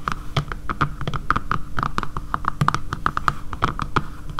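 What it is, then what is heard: Plastic phone case. Long painted nails on both hands tap quickly on a dark grey matte plastic phone case with a camera cutout, lying flat on a table. The taps are short, sharp clicks with a hollow ring around 1.2 kHz and a soft low thump beneath. A faint steady low hum runs throughout.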